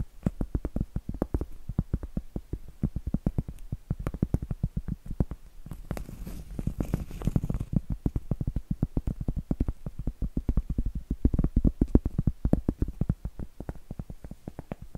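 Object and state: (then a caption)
Cork board. A large, round, solid cork board is held upright and tapped and scratched with long acrylic nails. Dense runs of quick, dull, low taps come in uneven bursts with almost no ring. Around the middle, a stretch of softer, hissy scratching rises into the high range.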